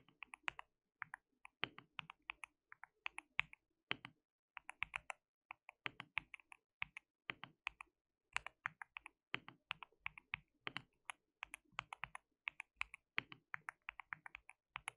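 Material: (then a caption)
Plastic. Fingertips of both hands type continuously on a white mechanical keyboard with plastic keycaps. Quick bursts of sharp, bright clicks die away instantly, with short pauses between runs, at a quiet level.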